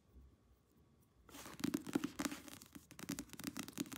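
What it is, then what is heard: Paperback book cover. Long nails tap and scratch quickly across the glossy paper front cover of a thick paperback novel held upright. After about a second of near silence, a rapid run of crisp, papery clicks and scrapes follows, uneven in rhythm.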